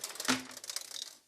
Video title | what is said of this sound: 18" LED dimmable ring light with remote better than Neewer | there is something rattling inside